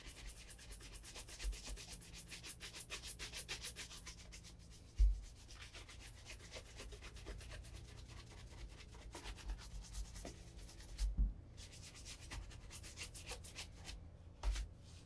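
A brown leather cap-toe Allen Edmonds Margate Oxford shoe with a leather sole, held hollow in the hand, is brushed briskly along the upper and welt with a wooden-backed horsehair shine brush. Rapid, bright bristle swishes repeat over a steady low hum, broken by a few louder knocks of the brush against the shoe.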